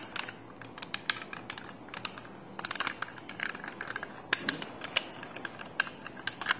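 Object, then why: Plastic tape dispenser. A small handheld yellow plastic sticky-tape dispenser holding a roll of tape is held in both hands and handled with fingertips and nails. Quick, bright plastic clicks and taps come in an irregular stream over about seven seconds. Each one is short and dry against a quiet, faint background hiss.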